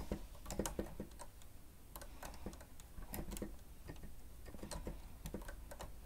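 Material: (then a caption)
Plastic. Fingertips of both hands press and tap the keys of a grey plastic stenotype keyboard with a hollow housing while typing. The result is a quiet, irregular stream of short clicks and hollow taps that die away quickly, with bright key clatter over a steady low rumble.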